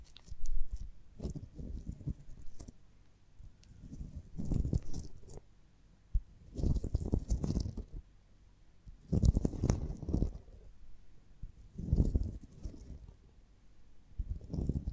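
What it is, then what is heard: Beeswax honeycomb. A beeswax honeycomb on a branch is held in one hand while the long nails of the other hand tap and scratch the waxy comb. The sound is a soft, low, dry rustling and clicking that comes in bursts every couple of seconds, with quiet gaps between them.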